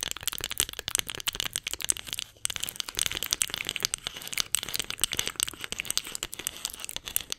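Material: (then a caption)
Wood. A solid, light-wood spoon held horizontally is scratched and tapped with long nails, giving a dense run of rapid, dry clicks and scratchy crackles. The sound is bright and high, with almost no low end, and each tap dies away instantly, with one brief pause partway through.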